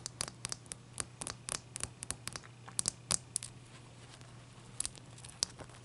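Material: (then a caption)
Ice. Long dark nails tap and scratch the top and sides of a large, clear, solid ice block resting on a towel. About twenty quick, dry, bright clicks and scrapes sound at an irregular pace with no ring, over a faint steady low hum. The taps come in clusters with brief pauses.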